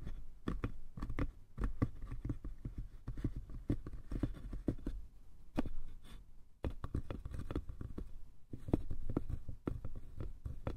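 Fingertips tap and scratch the sides and lid of a small, hollow, light-wood box. The result is a dense, irregular run of quick, dull, low knocks that stop almost instantly, with soft scratchy rustling between them.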